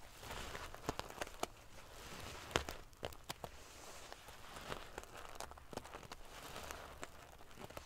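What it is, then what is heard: Metal sequin-covered pillow. Fingernails scratch and ruffle the silver metal paillettes covering a sequin pillow. The result is a soft, continuous scratchy rustle broken by sharp, bright clicks as the metal pieces flip and tap against each other.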